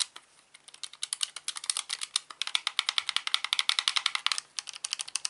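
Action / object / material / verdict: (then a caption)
tap / plastic game controller / plastic / none. Fingertips tap and click the buttons of a hollow plastic Xbox controller lying on a rug, making about forty sharp, bright clicks with no low end. The taps start sparse, then run in a quick, steady patter of dry plastic clicks that stop instantly, with a short pause near the end.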